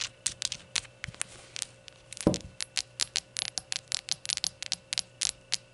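Long nails tap and scratch a small, hollow, empty ceramic shot glass, clicking on its glossy rainbow glaze and scraping across its unglazed white base with a printed label. Sharp, bright clicks come in a rapid, uneven series and die away almost instantly, broken by a louder, rougher scrape just after two seconds. A faint steady hum sits underneath throughout.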